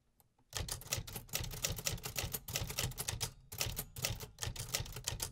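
A vintage hollow metal 1950s typewriter is typed on, with fingertips tapping the keys steadily throughout. After about half a second of near silence, a fast, continuous run of sharp mechanical clacks begins, each one bright on top with a hollow low body beneath. The strikes come close together with short decays and only brief pauses.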